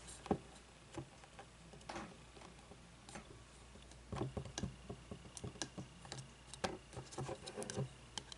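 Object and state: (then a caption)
Frosted glass candle jar. Long nails tap and scratch the sides of a medium frosted glass candle jar with a paper label and no lid, partly filled with wax, first while it stands upright and then as it is tipped. Quiet, sharp clicks and taps with brief rasping scratches sound at irregular intervals, growing busier in the second half.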